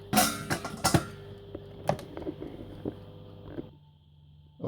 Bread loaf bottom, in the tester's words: it should be like tapping hollow from what I've seen